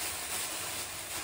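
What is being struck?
Nothing is struck.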